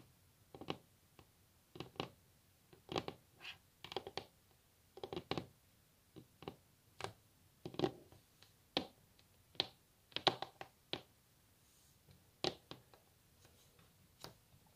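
Long natural fingernails tap on a solid varnished wooden tabletop, making quiet, crisp clicks with a bright edge that stop almost instantly. The taps come in quick, irregular bursts and clusters over about fifteen seconds, with near silence between them.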